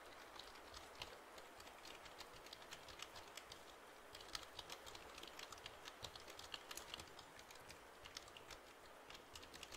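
A full-size black plastic computer keyboard with a hollow body is held tilted in front of the mic while fingertips tap and press its keys. The result is a quiet, continuous stream of short, bright, clicky taps over a steady soft hiss.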